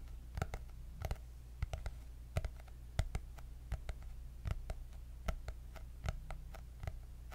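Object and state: Hardcover notebook, tapped with nails.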